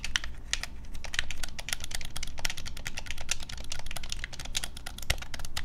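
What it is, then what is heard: Plastic game controller. Fingertips and thumbs rapidly tap and press the buttons of a hand-sized, hollow, black plastic Nintendo Switch Pro controller held in both hands over a wooden desk. A dense, continuous stream of short, sharp plastic clicks and taps is heard over a low background rumble, with a few louder clicks standing out.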